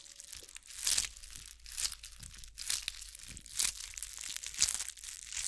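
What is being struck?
Bead-covered ball scratched with fingernails.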